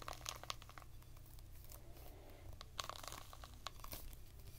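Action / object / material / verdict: scrape / whole pomegranate rind / fruit rind / none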